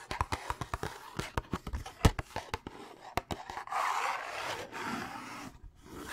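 A hollow Thin Mints cardboard candy box is held up near the mic and tapped with fingertips and nails, making a quick series of dry, sharp taps. Partway through, the tapping gives way to a steadier rustling as the box is handled, then fades to near silence before a few softer sounds at the end.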